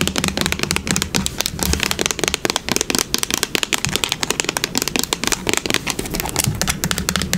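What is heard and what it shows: Long pink nails rapidly tap and scratch the body of a yellow plastic bottle of wood polish with a brown cap, held sideways. The result is a dense stream of quick, bright, dry clicks and scratchy rustling with almost no ring, over a faint low hum.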